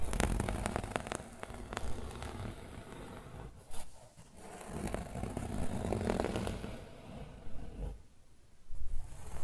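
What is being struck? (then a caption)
Woven fabric pillow. Fingernails scratch along the weave of a rolled yellow and grey woven fabric pillow. The result is a steady, dense, low-weighted scraping rustle with brief dips in loudness near 4 and 8 seconds.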